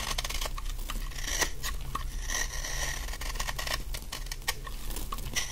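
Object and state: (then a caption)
Dry bar soap being shaved. A utility knife blade scrapes and shaves a large, solid, dry yellow bar of soap held in the hand, sending off fine crumbs. A steady run of crisp, bright scraping and crackling strokes, with occasional sharper clicks, sits over a constant low hum.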